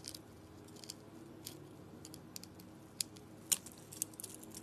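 A metal blade cuts and scrapes a rectangular solid soap bar with striped, dotted paint on a green crystal base. Quiet, bright, crisp scraping and crunching comes in irregular bursts, with a few sharper clicks over a faint steady low hum.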